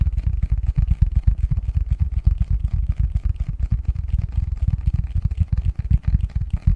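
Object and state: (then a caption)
Cardboard box lid. Fingertips and nails tap and scratch the front of a medium-sized, hollow, printed cardboard Christmas box lid held in both hands. Quick, uneven, deep hollow thumps come about four per second, each dying away almost at once, with faint scratchy texture above.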